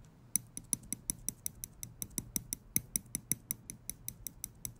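Small steel tweezers have their tips clicked and flicked with fingers, giving 24 quick, sharp metallic clicks in a steady run. Each click has a bright, high ring that dies almost at once over a faint low hum.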